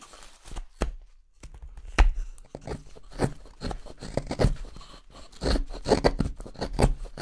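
A small steel carving knife makes short cutting and scraping strokes along the handle of a pale solid wood spoon blank held in one hand. Irregular, dry, crisp scrapes and cuts come one after another with soft low thumps beneath, and each stroke stops dead with no ring.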